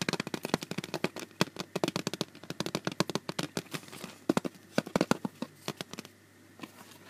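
A clear plastic CD jewel case with a printed cover insert is held in the hand while fingertips and nails tap and scratch across its hard plastic surface. The result is a rapid, irregular run of sharp, bright clicks with a thin, hollow tone and almost no ring, interspersed with brief scratchy rustles. The tapping eases into a short lull near the end before a few final taps.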